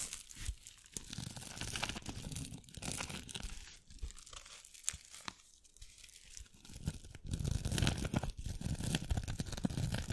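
A small, thin, hollow masquerade mask covered in glitter or beads is held up, then pressed over the top of a microphone and scratched with long acrylic nails. The result is a dense run of close, crinkly scratches and crunches, mostly low and boomy with bright fizzing edges, in irregular bursts that swell louder toward the end.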